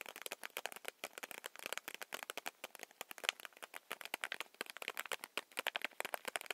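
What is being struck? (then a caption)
Paper-wrapped chewy candy stick. Long manicured nails tap rapidly along a small, solid stick of chewy Hi-Chew candy in its paper/foil wrapping. About 45 quick, dry, crisp taps with a crinkly, bright edge and almost no low end, each ending instantly without ringing.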